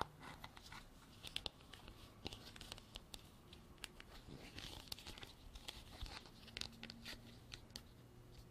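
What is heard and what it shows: Long nails tap and scratch a white hollow plastic container with a textured, ribbed lid. The result is a steady stream of quiet, sharp, bright clicks mixed with dry, crinkly scraping rasps that stop dead with no ring.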